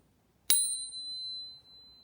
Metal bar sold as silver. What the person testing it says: that fake one again that sounds cool but definitely doesn't sound like a 999 silver bar